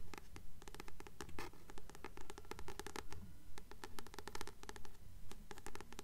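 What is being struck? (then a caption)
Paperback book with paper cover. Long nails scratch and tap the matte paper cover of a blue *Practical Magic* paperback held upright in both hands; the book is solid. Quick, dry clicks and brief scratches come in a steady, regular rhythm over a low background rumble.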